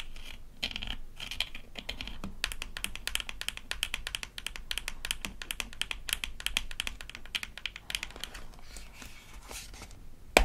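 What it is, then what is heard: Plastic toy toothpaste tube. Long nails tap rapidly on the flat end of the plastic cap and the body of a small, rigid plastic toy toothpaste tube from a Melissa & Doug Super Smile Dentist Kit. Dense, sharp clicks overlap with a soft scratchy hiss and a bright band of tone, ending in one louder click.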